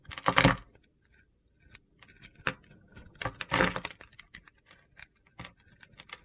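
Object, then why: Bar of soap. A utility knife blade scrapes and carves crunchy flakes off a small, solid bar of soap with a pink-to-purple glitter gradient and a scored top, held in the hand. Crisp, gritty crunching comes in bursts, loudest near the start and again around the middle, with quieter ticks and scrapes between them.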